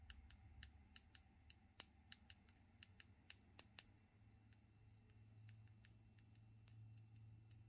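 Long natural fingernails with silver polish are tapped and clicked tip-to-tip and against each other between both hands, close up. A quick, irregular series of sharp, bright clicks dies away almost instantly. A low steady hum runs underneath and grows slightly louder in the second half.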